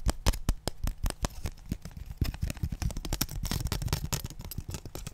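A long, thin, flat, transparent blue plastic ruler is held in both hands while fingertips and nails tap and scratch along it. The result is a fast, uneven stream of short, dry clicks and thuds with crisp scratchy edges and almost no ring, growing denser toward the end.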